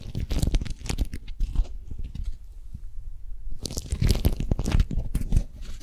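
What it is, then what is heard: Beeswax food wrap being crinkled. An orange-print beeswax-coated cotton food wrap, twisted into a strip and held between both hands, is pulled and gripped by long nails. It gives dense, dry crunching and crinkling bursts with a deep, heavy low end. A quieter, sparser stretch in the middle gives way to a renewed run of loud crackles.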